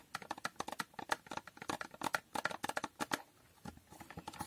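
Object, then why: Small foil-coated cardboard box. Long painted nails tap rapidly across the faces and edges of a small, hollow, rectangular cardboard box with a holographic foil coating. The result is a quick run of crisp, dry clicks with a hollow midrange knock and almost no ring. The tapping pauses briefly near the end, then resumes more softly.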